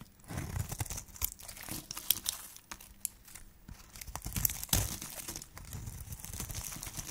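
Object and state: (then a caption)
Dry soap bar being shaved. A hand-held flat metal blade shaves thin curls from a solid, cream-coloured dry soap bar with a pink wrapper rim. The strokes make dry, crinkly scraping and crunching with bright, hissy edges over soft low thumps. A few sharper cracks stand out near the middle and end.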